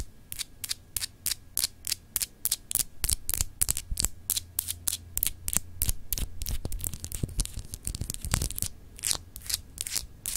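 Long acrylic nails scratch and tap a palm-sized solid clear glass globe paperweight in a rapid series of short, bright, crisp strokes. A low, steady hum sits underneath throughout.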